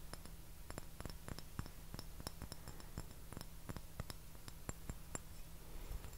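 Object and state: Porcelain saucer.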